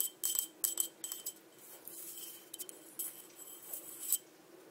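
Long dark nails tap and scratch the outside of a small, empty, green-patterned crackle glass cup held in a hand. Quiet, bright clicking taps come in irregular bursts, each with a brief high glassy ring, while softer scratching fills the gaps.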